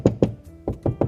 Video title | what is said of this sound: Before You Drill - Relying Only on a Stud Find Could Get You Killed | there's probably a pipe behind the wall or something else, because it doesn't feel as solid